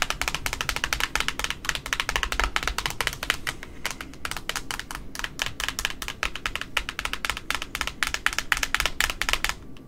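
Long metallic nails rapidly tap the flat face of a large white cardboard spool with a plastic centre hub, wound with pink ribbon. The steady stream of dry, hollow clicks dies out almost instantly, with bright energy centred around 1.9 kHz over a soft low rumble.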